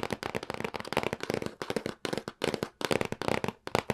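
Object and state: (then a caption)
Cardboard box tapped with fingertips. Fingertips and nails tap repeatedly on the top of a medium-size printed cardboard retail box for a SNES Classic Mini lying flat on a table. The taps come in fast, crackly bursts of short, dry clicks with a hollow papery body in the midrange and a bright edge, each dying away almost instantly.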